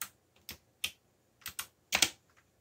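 Fingertips press the keys of a backlit mechanical computer keyboard with black plastic keycaps in typing taps. Seven sharp, bright plastic clicks with very short decay, a few fainter taps between them, and a close pair near the end.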